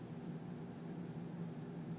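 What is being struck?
Nothing is struck.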